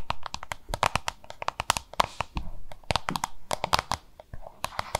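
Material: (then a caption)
Plastic. Long nails rapidly tap and scratch a small, hollow, oval yellow-green plastic lunch box held in both hands. The result is a dense run of sharp, dry clicks with a hollow tone around 1 kHz, with brief scratchy rustling passes between the taps.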